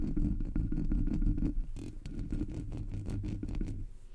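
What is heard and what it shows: Fingertips and long natural nails scratch the sides and top of the black hollow metal mesh grille on a Blue Yeti microphone. The result is a dense, rumbling, muffled scratching sound, heavy in the low end, with quick, irregular strokes that stay steady and then fade slightly toward the end.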